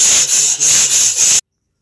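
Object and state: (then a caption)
Hollow delaminated concrete slab. A chain is dragged across a power-troweled concrete slab to check for hollowness. It produces a continuous, bright, high-pitched rattling scrape for about 1.4 seconds, with the level dipping slightly a few times before it stops abruptly. The slab sounds hollow and is delaminated: the top layer has broken bond with the concrete below, attributed to bleed water and troweling too early.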